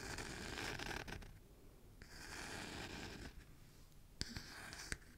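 Fingernails scratch the solid wooden back of a small oval wooden hairbrush with bristles, held in one hand. Two stretches of dry, bright rasping scratches are separated by a quieter pause. Two sharp clicks follow near the end.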